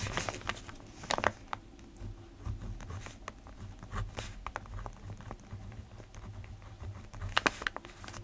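A black ballpoint pen writes on a sheet of an open lined paper notebook resting on a desk. The tip scratches across the paper in soft, quick strokes and taps over a low, steady hum. Brighter, sharper scratches stand out near the start and again near the end.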